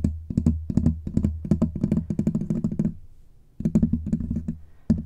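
Both hands grip a large black USB condenser microphone with a bare, rounded, hollow metal mesh grille, and fingertips and short nails scratch and rub the grille throughout. Rapid, bassy scratching taps and thumps fire in quick bursts with bright edges. They fade to a quiet pause just after three seconds, then resume.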